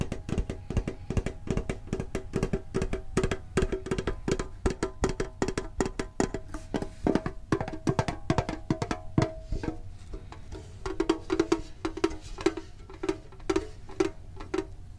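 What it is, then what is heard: Metal card tin. Fingertips tap quickly on the lid of a medium, printed, hollow metal Pokemon card tin. The result is a dense stream of short, dry, clicky taps with a hollow low thump and a faint metallic ring that dies away almost at once. Partway through, the low rumble drops away and the tin's mid-pitched hollow tone stands out more clearly in the later taps.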